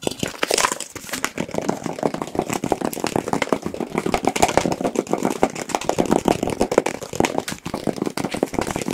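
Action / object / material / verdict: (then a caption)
tap / small plastic jar with lid / plastic / none. A small, hollow black plastic jar with a white label and a lid is held near the microphones and tapped very fast with fingertips and nails. The result is a dense, continuous stream of sharp, dry clicks and crackles that stop almost instantly, centered in the midrange around 500 Hz with little bass.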